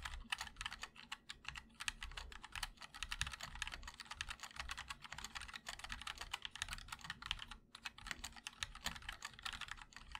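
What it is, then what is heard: Mechanical keyboard being typed on. A compact mechanical keyboard with a black aluminum case and white and black plastic keycaps is typed on steadily by two hands using their fingertips. The result is a dense stream of about 61 quick, bright key clicks with short decay over a low background rumble.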